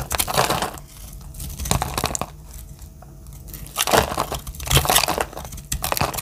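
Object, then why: Bar of soap cut with a metal blade. A metal utility-knife blade shaves dry slices and flakes off a palm-sized lavender solid bar of soap. Bursts of crisp, crunchy scraping alternate with quieter gaps and sharp clicks, with bright, broadband crackle during each cut.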